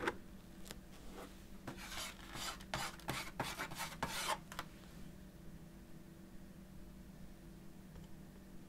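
A metal palette knife with a wooden handle scrapes and drags across a medium-sized stretched canvas on a canvas board covered in wet acrylic paint showing a blue city skyline. Soft, bright rasping strokes come in uneven bursts for the first five seconds, then fade to a faint, quiet scrape over a low steady hum.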